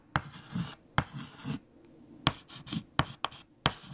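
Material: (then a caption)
Chalk. Fingertips hold white chalk and write equations on a large, flat black chalkboard. Six sharp chalk taps against the board are heard, each followed by dry, scratchy writing strokes with a low body and a bright hiss.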